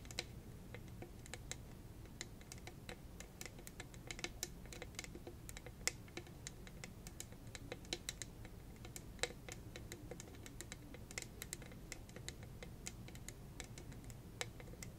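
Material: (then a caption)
Plastic. A hand-sized, hollow cylindrical tumbler covered in small purple rhinestone studs, likely plastic gems, is held above a fluffy microphone and tapped and scratched with long red acrylic nails. A rapid, steady stream of quiet, dry, bright clicks and ticks runs throughout, each dying away almost instantly over a low, soft background rumble.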